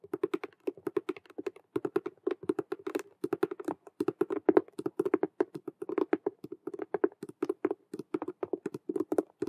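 Long nail tips tap rapidly on the front face of a hollow, cube-shaped patent faux leather Rubik's cube handbag with stitched glossy vinyl squares. Around sixty quick, dry, clicky taps come in fast uneven bursts, each with a hollow mid-low tone near 375 Hz and a very short decay, like fast typing on a keyboard.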